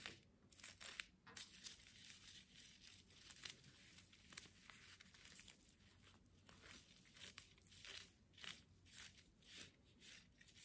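Long fingernails scratch the rough burlap jute wrapped around a small plant pot holding an artificial succulent. It makes a quiet, dry, bright rasping in repeated short strokes, each fading out at once over a faint low hum.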